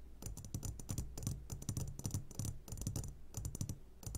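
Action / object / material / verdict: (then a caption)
tap / glass jar full of gummy candies / glass / none. Short fingertips of both hands tap rapidly on the sides of a medium glass jar that sits upside down, full of sugared gummy candies. The taps give soft, dull low thuds with bright clicky tops in an irregular, quick patter. Each tap dies away almost at once, with no ringing.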